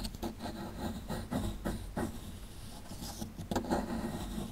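A small, solid plaster excavation block held in the hand is scratched with a metal pick tool. Dry, gritty scrapes and short scratching bursts repeat over a steady low rumble, with little brightness and almost no ring after each stroke.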